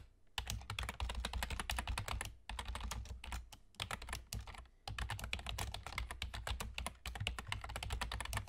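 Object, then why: Plastic computer keyboard. Rapid fingertip typing from both hands, with short nails, on a full-size black plastic keyboard with German key labels and hollow keys, producing dense bright clicks and clacks. Brief pauses break the typing near 2.5, 3.7 and 4.8 seconds, and a steady low hum sits underneath throughout.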